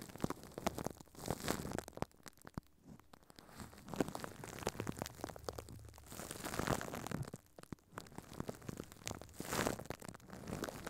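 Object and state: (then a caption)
Plastic wrap crinkled over a microphone. Furry puppet hands crumple and crinkle thin clear plastic wrap stretched over a microphone head. Dense, dry crackles and crunches come in waves, swelling into louder bursts and easing into brief quieter pauses before building again.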